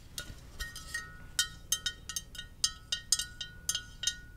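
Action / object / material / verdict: tap / glazed ceramic mug / ceramic / none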